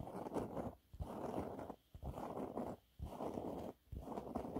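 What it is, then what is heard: Textured cleaning cloth being scratched. Long nails scratch and rub across a yellow waffle-textured cleaning cloth with splayed fingers. Five dense, rough bursts of scratchy rubbing come about once per second, separated by brief near-silent pauses. The sound is dull and muffled, with no high sparkle.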